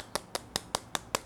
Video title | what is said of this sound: [제품 대여]갤럭시 노트20 울트라와 노트20 완전히 다른폰 입니다 / 디자인, 디스플레이, 카메라, 스펙 살펴보자 | 플라스틱, 그리고 두들겨봐도 그냥 플라스틱이에요.